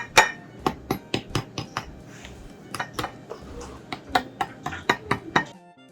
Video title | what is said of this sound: 西多士 氣炸鍋西多士做法 無煎炸 容易整食得健康 兩種口味兩種食法 花生醬 士多啤梨醬 糖漿煉奶 [暖意廚房 - 氣炸鍋料理] [CC 中文字幕/English Sub] | Listen how crispy it is.